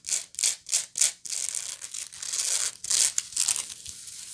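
Long acrylic nails scratch the coiled woven bottom of a medium, hollow, apparently empty woven natural-fiber bag (straw or sisal-like) held up in the air. Four quick, separate bright rasping strokes come first, then a longer continuous scratching stretch and a few more short strokes. The sound is a dry, hissy, high-pitched scrape with almost no low end and very little ring.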